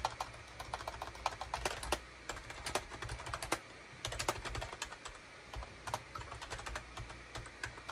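Fingertips type on a full-size gray and beige SHIPADOO K600 wired USB keyboard with hollow plastic keycaps. A steady, uneven run of short, dry plastic clicks and taps sounds over a faint low background hum.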